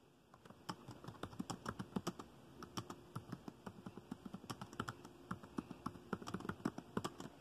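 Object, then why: Plastic laptop keyboard keys. Fingertips of both hands type fast on a dark chiclet-style plastic laptop keyboard with the trackpad below, producing about 38 quiet, dry key taps. Each tap is a short, crisp click with a soft low thud and no ring, arriving in a quick, uneven stream over the quiet background.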